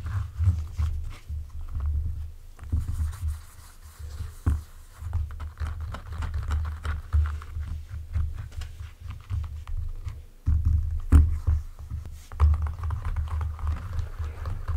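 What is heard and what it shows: Fingertips and nails tap and scratch the leather uppers of a pair of small white leather T-bar kids' shoes, hollow and empty, resting on a table. A steady stream of soft, muffled taps and rubbing scratches is heard, almost entirely deep and low, with slightly louder knocks near the middle and end.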